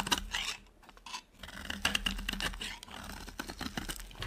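A utility knife blade carves a dry, solid white bar of soap, producing quick, crisp, bright scraping and crackling cuts with short pauses between them. At the end, cut slabs of the bar are broken apart by hand, adding brittle snapping crackles.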